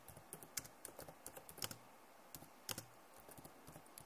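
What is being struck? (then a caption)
Plastic laptop keyboard. Both hands with long nails type fast on a backlit plastic laptop keyboard. The result is quick, dry, bright clicks and taps in uneven bursts. Each click dies away almost instantly over a faint low hiss.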